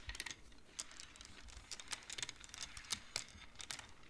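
A large wooden-framed abacus with colored wooden beads on metal rods is played with both hands, the fingertips sliding the beads along the rods. Quick, dry, bright clacks sound in an irregular stream, each one short with almost no ring, over a faint background.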